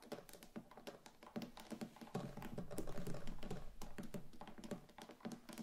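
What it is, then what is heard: Wax pillar candle. Very long pointed acrylic nails on both hands tap rapidly on the sides of a large, lit, neon-green solid wax pillar candle standing on a wooden table, with a small flame burning on top. The result is a quiet, fast, uneven patter of dull, low clicks that die away almost instantly, much like typing on a keyboard.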